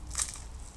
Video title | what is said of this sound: أحلى صينية بقلاوة بعجينة منزلية بكل سهولة بطبقات مقرمشة وذهبية 😋 | اسمعوا صوت القرمشة. شايفين قديش مقرمش.